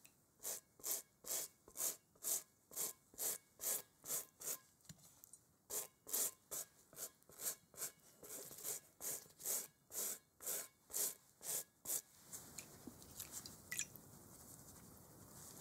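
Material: Rubber.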